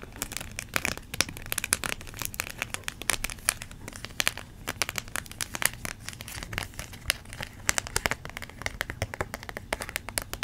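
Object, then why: Thin clear plastic blister pack. Long nails tap and crinkle a small, hollow, clear plastic blister pack. The result is a steady run of sharp, bright clicks and crisp crackles that end almost instantly, over a quiet, low background.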